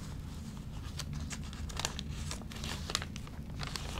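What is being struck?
Glossy paper magazine.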